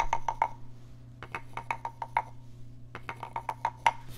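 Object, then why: Small carved wooden frog rasp. A small, hollow, carved wooden frog guiro is held in one hand and struck and scraped along its ridged back with a wooden stick. Short, dry, woody taps with a pitched knock near 930 Hz die away almost instantly. They come in three quick clusters separated by pauses, over a steady low hum.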